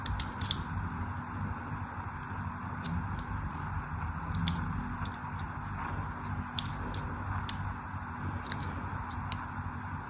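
A thin blade tip scratches crosshatch lines into the surface and sides of a solid orange-and-white striped soap bar held in hand. Irregular, sharp, dry scraping clicks stand out over a steady low hum, with the brightest ticks clustered near the start and scattered through the rest.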